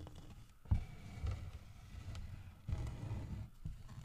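Fingertips and nails tap and scratch the grooved, carved back of a large, solid carved wooden bear figurine lying on its side on a wooden table. The result is quiet, dull, low thuds with soft scratchy rubbing in between, and each tap dies away almost at once.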